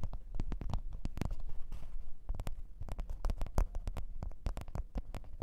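A black leather (likely faux) microphone case lying on white fur is tapped and scratched by long orange-red nails on both hands. Quick, dry, muffled taps come in an uneven stream with soft scratching between them, each tap thudding low and dying away almost at once.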